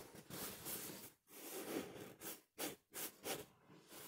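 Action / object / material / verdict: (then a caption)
scrape / stuffed pillow with smooth polyester cover / polyester fabric / none. A small soft stuffed pillow in a smooth, printed polyester-like cover, pink and blue with flowers and Portuguese text, is scratched and rubbed with fingertips and short nails close to the mic. Four bursts of dry, hissy, bright scratching come in quick succession, separated by brief quiet gaps, with little low end and no ring after each stroke.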